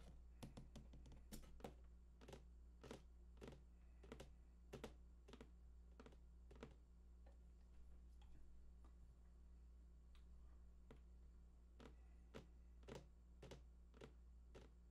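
Fingertips of both hands tap the side edges of a large, hollow, printed cardboard PlayStation 4 box with unknown contents. The taps are quiet, short, dull knocks that die away almost instantly: a quick flurry at first, then slower, evenly spaced taps. A steady low hum runs underneath the whole time.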